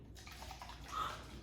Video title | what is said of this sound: Best of Miss Stacey Ep 51-55: Cooking, Birthday Party, Farm Animal Surprises, ABCs, STEM, Toddler | What's interesting is when you drink water, it doesn't make that sound. But when you shake it, it does.